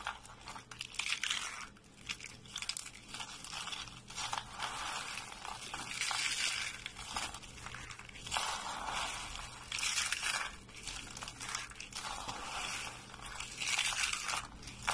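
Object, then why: Thin soap curls. Fingers and fists squeeze and crush a pile of thin, white, dry soap shavings rolled into curls over a wooden surface. The result is a steady, dense stream of crisp crunching and crumbling, bright and brittle with almost no low end. The sound comes in slightly louder surges as the curls break apart.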